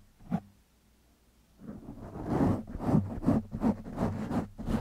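Fingertips of both hands scratch a black foam windscreen on a microphone. A single short, muffled scratch is followed by a pause, then a steady run of rapid, rhythmic rasping strokes with soft low thumps and a brighter hiss on each pass.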